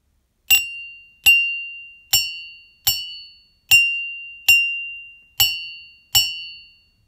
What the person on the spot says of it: The tone of the resonant sound alternates between low pitch and high pitch at every pi/4 radian (45 degrees) due to the presence of a handle of the ceramic coffee mug.